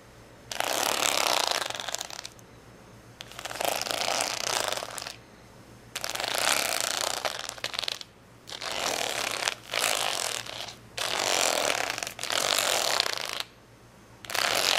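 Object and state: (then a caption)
Plastic rhinestone sticker sheet scratched. Fingernails scratch across the gems of a folded, stacked plastic rhinestone sticker sheet resting on a towel. About seven bursts of dense, bright, crackly scratching are separated by short quiet pauses.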